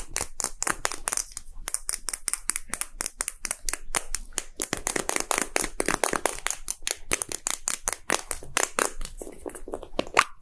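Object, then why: Hollow plastic ball-shaped capsule. A small, hollow, red and white plastic gacha capsule shaped like a Poke Ball is held and tapped quickly with fingertips and short nails. The result is a dense, uneven stream of short, dry, bright clicks and taps with very little ring, mixed with soft hollow knocks.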